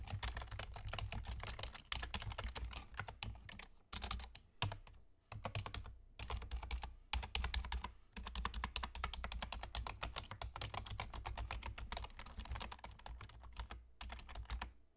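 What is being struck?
Plastic computer keyboard.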